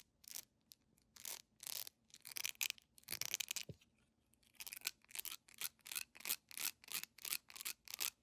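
Long manicured nails scratch fast across a solid, hand-sized yellow beeswax pillar candle with a honeycomb texture and a wick at the top, held in both hands. Bright, dry, raspy strokes come in quick bursts, with almost no low end. An uneven patch of longer rubs gives way to a steady, rhythmic run of short scratches.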